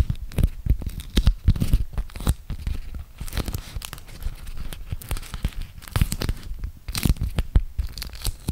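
Fingertips and nails peel open the sticky folds of a thin, flexible printed beeswax-coated cotton food wrap folded into a small packet, then crinkle the waxed fabric. Dense, rapid tearing and crackling snaps come close together with a low, soft body and brief bright edges, with no speech.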